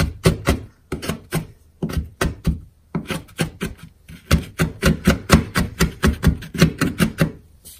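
A metal kitchen knife repeatedly chops and scrapes through a pile of already-chopped, solid, dry colored school chalk chunks on a wooden cutting board. About 26 quick, dull knocks follow one another, each with a short gritty crunch and very little ring. The chalk is crushed into smaller crumbs and powder.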